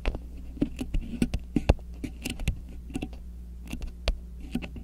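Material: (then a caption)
Waxed cotton. A thin, flexible grey polka-dot beeswax-coated cotton wrap draped over the top of a microphone is scratched, crinkled and pressed with long acrylic nails and fingertips. It makes a quick, irregular series of short, dry crackling taps and crinkles that die away at once, over a steady low hum.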